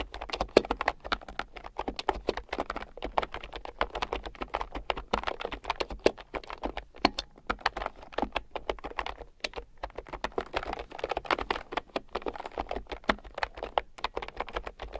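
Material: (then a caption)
Plastic. A red plastic keyboard with round, typewriter-style plastic keycaps, lying on a fur rug, is typed on with fingertips and long nails. Rapid, uneven bursts of sharp, dry clicks and taps run throughout, each click short and bright with no ring.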